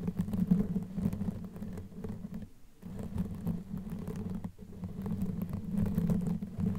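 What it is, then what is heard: Knitted yarn microphone cover being scratched. Long nails scratch a black knitted yarn sleeve covering a microphone head, using both hands. The result is a dense, muffled, rumbling scratch concentrated in the low range, with a steady hum-like band near 200 Hz and fine crackly texture on top. It runs nearly continuously, briefly easing around the 2.7 and 4.5 second marks before resuming.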